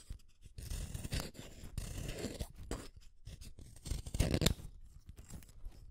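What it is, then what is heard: Wooden colored pencil being sharpened. A green wooden colored pencil is shaved by the metal blade of a yellow plastic hand sharpener. The result is a series of dry, scraping cuts with crackly, bright shaving noise over a low rasp. The sound swells in uneven bursts, with a louder stretch near the end.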